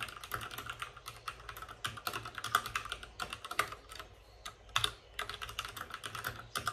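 Fingertips of both hands type fast on a white RGB-backlit mechanical keyboard with plastic keycaps and a hollow plastic case. The result is a rapid, uneven stream of short, bright, clacky keystrokes with almost no ring. There is a brief lull just past the middle before the typing picks up again.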